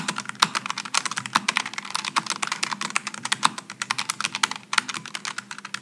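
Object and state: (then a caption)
Low-profile mechanical keyboard typing. Fingertips of both hands type continuously on a Logitech G915 low-profile mechanical keyboard with GL switches, an aluminum top and plastic keycaps, resting on a wooden desk. A fast, uneven stream of short, bright clicks and clacks, each dying away almost instantly, runs over a faint steady low hum.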